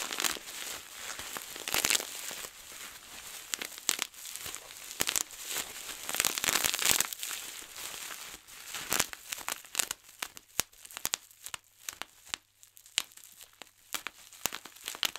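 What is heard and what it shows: A large sheet of clear plastic bubble wrap is rolled and wrung by hand, producing dense crinkling with rapid clusters of sharp, bright pops. It then gives way to fingertips pinching individual bubbles, which pop as distinct crisp snaps against a quieter background.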